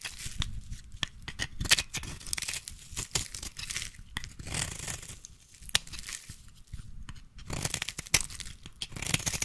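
A solid green bar of soap, held in a hand with long pink nails, is carved with a small blade that shaves off thin curls. Dry, crackly scraping and tearing sounds come in quick bursts, bright and papery with a soft low rustle underneath. Each short cut ends almost at once with no ring.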